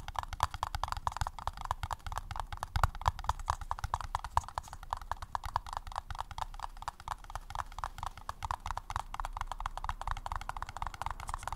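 Rapid, steady tapping on a paper cup gives a continuous run of short, hollow, clip-clop-like taps. Each tap has a low thump and a mid-range knock, and it dies away almost instantly with no ring.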